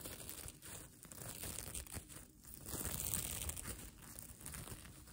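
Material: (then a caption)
Plastic sequins. Fingertips and nails scratch and brush across the plastic sequins of a sequin-covered fabric mermaid tail blanket that is held up. The result is a soft, continuous crinkling and rustling with a bright, hissy edge, rising and falling in loudness as the strokes continue.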